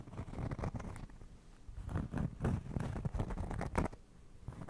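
A round, flat, solid cork trivet is held in both hands in front of and beside the microphone and scratched and tapped with fingertips and nails. It makes a quick, uneven run of soft, dull, low taps with short scratchy rustles between them, and each sound dies away almost at once.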